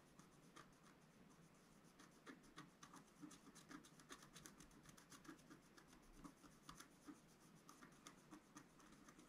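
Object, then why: Black-coated scratch-art paper sheet scratched with a wooden stylus. A wooden stylus scratches dense hatching into the middle of a flat, black-coated scratch-art sheet, about A4 in size, lying on a table. It makes a quiet, steady run of short, dry rasping strokes with bright, crackly edges over a soft low-mid scraping body.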